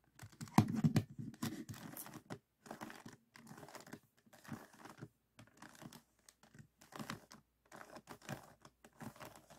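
A small, solid, stickerless plastic 3x3 puzzle cube is held in both hands on a table while fingertips rotate its top layers. The turns make quick, irregular bursts of plastic clicks and scrapes, loudest near the start. Short pauses separate the bursts, and each click stops dead with no ring.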